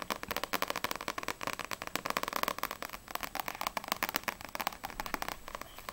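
Long acrylic nails tap quickly across the glossy paper front cover and edges of a small, solid No.6 paperback manga book. The result is a rapid, steady run of short, crisp clicks, each with a bright tick and almost no low end.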